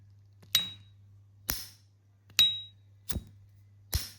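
Two little-used S.T. Dupont Line 2 lighters have their metal lids opened five times, each giving a sharp, loud, bright metallic ping ringing near 3.8 kHz that fades quickly, over a faint steady low hum. This clear, crisp ping is the expected sound of a clean Line 2.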